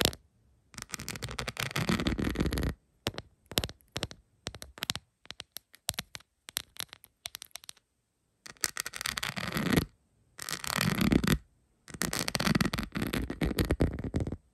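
Long pointed acrylic nails tap on a rhinestone-covered plastic phone case lying flat. Dense bursts of rapid, dry clicking and scratching alternate with slower scattered single taps and short silences. The clicks are bright and crisp and die away almost instantly.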